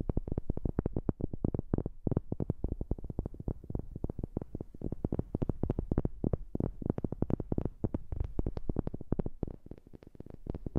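A wooden object is tapped rapidly and continuously with a new microphone, close up. The taps are short, dull, low thuds with almost no ring, falling in a quick, uneven rhythm that keeps going for the whole clip.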